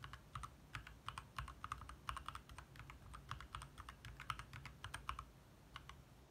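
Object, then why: Plastic mechanical keyboard. Fingertips type fast taps on a compact 60% backlit mechanical keyboard with lit plastic keycaps. Quick, short clacks with a midrange click ring out over a low hum throughout.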